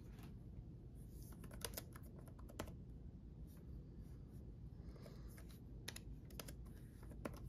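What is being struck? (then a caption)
Plastic laptop keyboard. Fingertips of both hands type a steady run of key presses on a black backlit gaming laptop keyboard with plastic keycaps and a hollow chassis. Short, bright clicks stand out over a constant low rumble.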